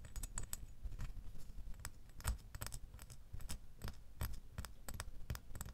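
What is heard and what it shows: A small solid metal door key lying in an open palm is tapped with fingernails in a quick, uneven series of light clicks. Each tap is a short, bright tick over a soft low thump, dying away almost instantly with no ringing.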